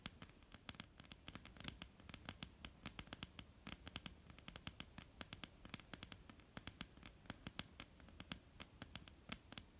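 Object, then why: Wooden tabletop. Long polished nails of both hands tap and scratch across a flat, solid, dark wooden tabletop. Rapid, dry, bright clicks land in an irregular patter over a soft scratching rustle and low background noise. Each tap dies away almost instantly, and the whole clip stays quiet.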